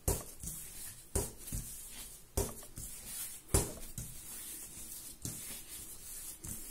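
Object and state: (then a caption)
Soft bread dough being patted. Bare fingertips and palms press and pat a large, soft, solid yellow ball of raisin bread dough on a marble-pattern counter. The result is an irregular series of soft, low, dull taps and moist squishing sounds, with a faint bright hiss above them.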